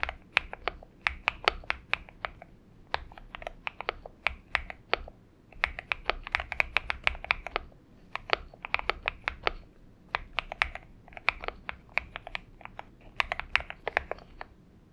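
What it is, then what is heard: Mechanical keyboard typing. Fingertips of both hands type continuously on a purple-backlit Xinmeng M71 70% mechanical keyboard with an aluminum case and PBT keycaps, resting on a desk mat. Short, bright, clacky keystrokes with almost no ring arrive in rapid bursts separated by brief pauses, their sharp clicks centered around 2.4 kHz over a faint low background hum.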